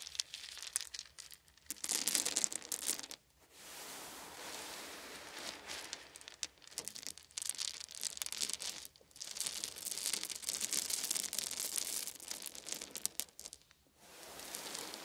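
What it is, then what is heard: Wooden beads. A handful of small, solid wooden beads is held in cupped palms, poured onto a pile, and then raked through with the fingers. The result is dense, bright clicking and rattling, with a clattering burst near the start and longer stretches of rustling, separated by brief quiet pauses.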